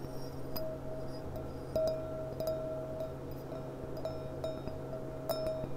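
Long painted nails tap the thin bowl of a clear, empty, hollow glass goblet with a gold rim, lying on its side. A series of light clinks each rings out in a clear tone near 640 Hz with bright high overtones, lingering about a second and a half over a steady low hum.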